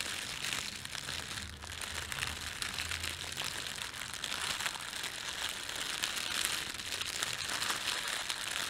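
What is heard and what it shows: Fingertips crumple and rub a thin, red-and-white printed plastic bakery bag, making a steady, dense crinkling full of bright crackles centred around 3 kHz. The rustling stays at an even level throughout, with a faint low hum underneath early on.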